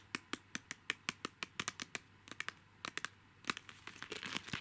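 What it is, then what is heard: Plastic mini highlighters in a plastic tray. Long nails tap and scratch six small, hollow, pastel capsule-shaped plastic mini highlighters in a clear plastic holder. The result is a string of sharp, bright clicks with almost no ring, growing into a denser crinkly scratching toward the end.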